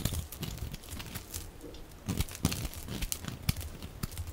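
A hand-sized, dry pink soap bar with a blue rim, held in one hand, is shaved and scratched with a metal utility blade held in the other, peeling off curls and flakes. Quick, crisp scraping and crinkling strokes follow one another over a soft low rumble, with a few sharper bright scrapes standing out.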